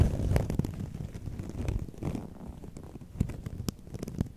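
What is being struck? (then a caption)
Preserved rose bouquet in a round box. Long nails tap and scratch the soft petals of a large round box of white preserved roses (Rose Forever) placed beside an untouched microphone. The result is a stream of soft, muffled, low thuds and rustling scratches at an irregular pace, with a few sharper, brief clicks.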